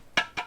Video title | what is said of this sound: Full-Time eBay Hustle: Goodwill vs. Brand New Savers - Who Wins the Thrift Haul? | when I'm tapping the lid it's clanking against the the jar part the you know where it meets the other ceramic